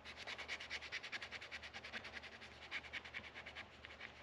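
A small white sanding pad is rubbed back and forth over the upper metal frets, near the headstock, of a solid wooden electric guitar neck with a dark fretboard lying on a workbench. It gives a quiet, bright, steady scratchy scrubbing in quick, slightly uneven strokes.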